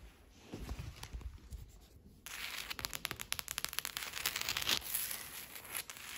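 Long, pointed green acrylic nails tap and scratch across large, solid, flat slate stone floor tiles while a dog lies still nearby. A soft, scratchy rustle opens the clip, then a fast run of crisp, bright, high-pitched clicks takes over from just past two seconds, each tap short and dry.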